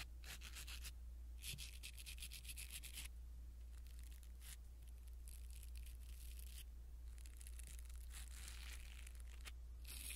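A blue silicone-bristle ear pick rubs against a small black foam windscreen on a pin microphone, making soft, bright scratchy rustling in repeated bursts of strokes. A steady low hum runs underneath throughout.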